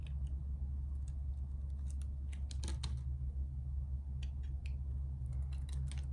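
A solid purple bar of soap is held in the hand and shaved with a metal utility-knife blade, scraping and carving off thin layers. Short, crisp scraping clicks and bright flicks come and go over a steady low hum that fills the whole clip.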